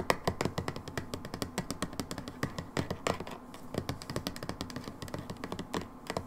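A brown plastic hydrogen peroxide bottle lies in a hand and is tapped on its label with long nails. The result is a rapid, uneven run of about 48 short, dry taps, each a hollow low-mid knock with a bright click on top that dies away almost instantly.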